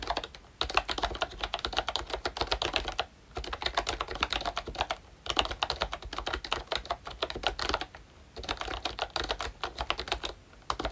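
Fingertips type quickly on a pink plastic ROYCHE Disney Mickey Mouse retro membrane keyboard with round keycaps and a hollow body. Bursts of dense, bright, clicky key taps come in runs separated by short pauses, each tap dying away almost instantly.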